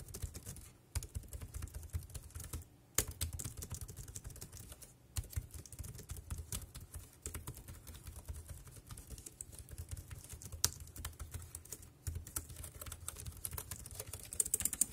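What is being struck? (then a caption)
Plastic computer keyboard. Fingertips tap the round keys of a dark grey plastic wireless keyboard in steady typing. Quick, bright, short clicks come in uneven bursts over a low hum, with brief pauses between runs.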